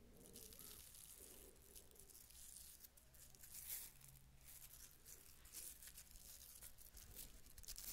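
A small hollow wooden cylinder with horizontal ridges is held in the hand and scratched along its ridges with long manicured nails. The result is a quiet, dry, bright rasping with rapid clicky textures that comes and goes in bursts over a low steady hum.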